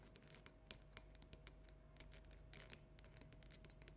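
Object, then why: Small hollow plastic pumpkin decoration. A small hollow orange plastic light-up jack-o'-lantern with an LED light is held and tapped with long natural nails painted black and red. Quick, bright plastic clicks and taps patter irregularly over a faint low hum, each tick dying away almost instantly.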